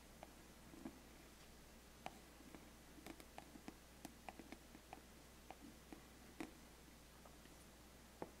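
A thin wooden stick traces and scratches the lid of a closed, large, flat, black, glossy cardboard biscuit gift box. Soft scraping is broken by scattered sharp, dry ticks that die away almost instantly, over a faint steady low hum.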